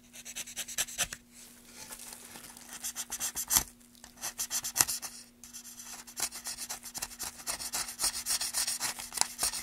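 A long, light-coloured wooden board with a carved channel is held in gloved hands and sanded along its surface with a small sanding block. Quick, bright, raspy scratching strokes repeat in bursts, with brief pauses between them and a faint steady low hum underneath.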